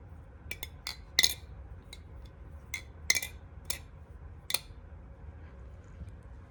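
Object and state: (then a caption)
Balisong knife with a glassy clack. A Nami balisong butterfly knife is flipped, and its metal parts clack together in sharp, bright clicks with a glassy, clinking ring. Eight separate hits stand out over a low background hum, with the loudest around 1.2, 3.1, 3.7 and 4.5 seconds.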